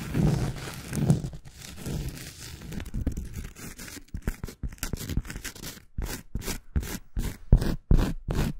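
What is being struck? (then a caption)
Thin round cork coaster. Long acrylic nails scratch the surface and edge of a thin round cork coaster. A steady, dull, low rasping rub for about four seconds gives way to quick, separate scratching strokes with brief silences between them, each one a short, dry burst of friction.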